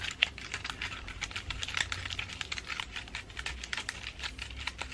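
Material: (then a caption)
Wood. Long nails tap and scratch the woody scales of a pine cone, moss and dried flower ornament ball held up close. A rapid, uneven stream of short, dry, bright clicks and scrapes plays over a faint low rumble.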